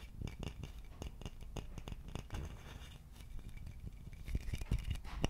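Fingertips and nails scratch and tap the neck of a hollow, empty wooden vase with its opening visible. A quick series of dry, short taps with almost no ring sits over a low, muffled body, mixed with soft scratchy rasps that grow busier and louder toward the end.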